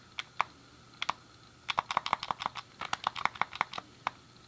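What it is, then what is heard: Plastic game controller buttons. A hand-sized, hollow grey plastic SNES game controller is worked by hand: a thumb clicks the D-pad and fingertips press the face buttons. The result is a quiet, irregular series of short, dry plastic clicks with a tonal tick near 1.1 kHz and bright edges. Each click dies away almost instantly.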